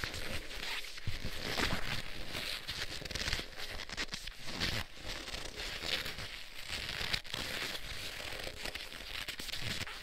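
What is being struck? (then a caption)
Leather gloves. Black leather gloves worn on both hands have their gloved fingers clasped and rubbed against each other, giving continuous leather-on-leather friction. The sound is a steady crinkling, creaking rub with a bright squeaky edge around 2 kHz and soft low thumps as the hands shift, rising and falling in loudness without clear separate strokes.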